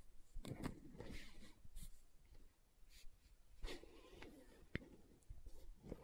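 Long nails tap and scratch the side of a green plastic aloe gel tub held at an angle. Quiet, dry taps with no ring mix with soft, scratchy rustling bursts. Most of the sound sits in a low, dull register.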